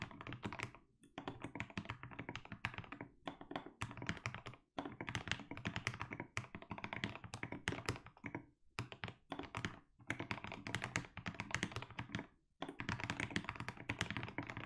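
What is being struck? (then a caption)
Mechanical keyboard with plastic keycaps. Rapid two-handed fingertip typing on a 60% mechanical keyboard with a white case and plastic keycaps produces a dense stream of deep, thocky keystrokes with short, dry clicks. The typing comes in bursts separated by brief pauses throughout the clip.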